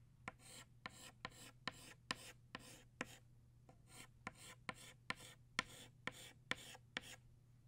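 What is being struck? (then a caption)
Chalk stick on a slate chalkboard. A green chalk stick draws leaves on a flat black chalkboard in fourteen quick strokes. Each stroke opens with a sharp tap and trails into a bright, raspy scratch. A faint steady low hum runs underneath, and the whole clip is quiet.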